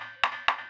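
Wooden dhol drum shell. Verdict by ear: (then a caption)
Sound. Two taps on the wooden body of a dhol drum give bright, ringing knocks centred around 1.1 kHz. Each tap leaves a short ringing tail rather than a dull thud, the sign of a well-made shell with a good tone.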